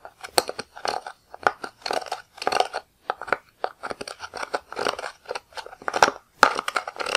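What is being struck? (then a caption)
Pressed powder eyeshadow in plastic pans, scraped with a metal-tipped tool. A wooden-handled, metal-tipped tool scrapes and crumbles green pressed powder out of the pans of a black plastic eyeshadow palette. The result is a run of short, dry, crunchy scraping bursts with quick crackly detail. It is centered in the midrange with some bright edges, and there is no low end or ring between strokes.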